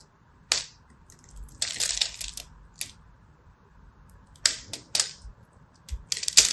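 A small black blade scratches and cracks flakes off the edge of a hand-held purple and white striped solid soap bar that has already been scored in a grid pattern. Sharp, bright crackling snaps and short scratchy bursts come in irregular clusters with quiet gaps between them. Each crack dies away almost instantly.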